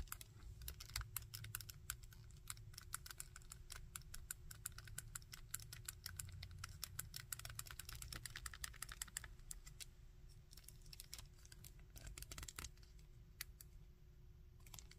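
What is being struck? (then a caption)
Small plastic action figure. Fingertips and nails rapidly tap and scratch the torso of a small plastic Iron Man action figure and move its arm. Dense, quick, dry clicks and scratches ring very briefly over a steady low rumble and a faint constant hum.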